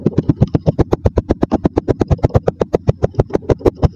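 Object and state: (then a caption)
Kinetic sand packed in a glass. A wooden dowel repeatedly presses and knocks down onto layered yellow and maroon kinetic sand packed into a mostly full clear glass tumbler, compacting the sand. About 29 quick, evenly spaced low, dull thuds land with a soft crunchy texture. Each dies away almost at once.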